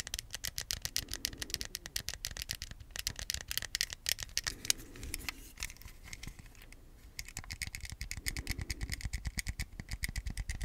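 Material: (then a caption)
Plastic. A small, hollow, white hard-plastic Wii remote is held close to the mic while its buttons are clicked, then held in both hands and tapped with fingertips. The result is a dense stream of quick, dry, bright clicks and taps that stop instantly with no ring, with a brief quieter lull near the middle before the tapping picks up again.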